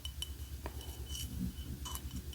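Light clinking taps on a Wicked souvenir mug from the off-Broadway show, with its "one short day" text inside the cup. Several brief, bright clinks with a short ring sit over a steady low hum.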